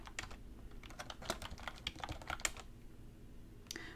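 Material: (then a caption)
Plastic. A short burst of typing on a black plastic computer keyboard, with fingertips and long red nails tapping the keys. Quick, sharp, bright clicks come in an uneven run over a low steady hum, pause briefly, then end with one last tap.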